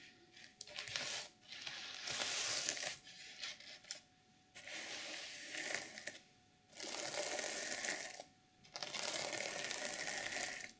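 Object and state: Sequin fabric journal cover being scratched.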